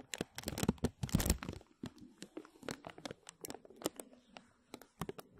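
A thin clear plastic film bag stretched over a microphone is tapped and scratched with fingertips and short nails, making crisp crinkles. A dense burst of rustling crinkles in the first second and a half gives way to sparser, sharp taps and scratches separated by quiet gaps.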